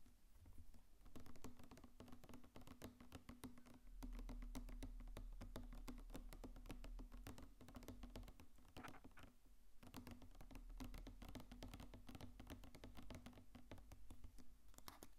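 A medium blue Colgate Plax plastic mouthwash bottle with a white plastic cap, hollow and filled with blue liquid, is held in hand close to the mic and tapped with fingertips and nails. The result is a quiet, steady stream of rapid, soft patter-like clicks and taps over a low, hollow plastic resonance that runs through the whole clip.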